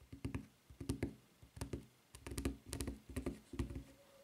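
Long nails tap quickly on the flat footbed and edge of a white rubber flip-flop with a red rubber strap, lying upright. The result is an uneven run of short, dull, low thuds with a faint hollow tone, each dying away almost at once, with occasional bright clicks on top.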